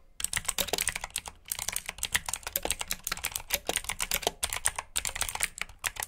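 Fingertips with short nails type rapidly on a full-size black plastic mechanical keyboard with RGB backlit keycaps, clicky blue switches and hollow key housings. The result is a dense, steady stream of bright, sharp clicks and clacks with very short decay, broken by a few brief pauses.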